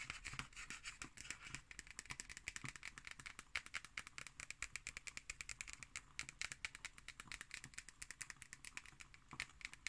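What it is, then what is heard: Cardboard hardcover notebook. Long green nails tap quickly and scratch across the cover and label of a black cardboard hardcover notebook. The clip is a dense run of soft, crisp, bright clicks with a scratchy hiss, and almost no low end.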